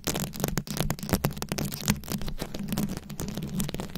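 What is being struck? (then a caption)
Microphone head covered in rhinestone beads, scratched with nails. Long acrylic nails scratch and tap across a round microphone head covered in rhinestone beads. A dense, continuous stream of crackly scratches and short clicks follows, heavy in the low end with a steady low hum around 200 Hz, and each tap dies away almost instantly.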